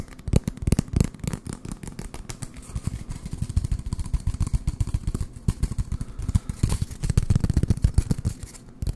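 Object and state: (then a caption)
Empty cardboard tube. An empty, hollow brown cardboard toilet paper roll is held in the hand and tapped and scratched with fingertips and short nails close to the microphone. Fast, irregular hollow thumps, mostly deep and dull, run throughout with a dry scratchy texture between them. Each tap dies out almost instantly.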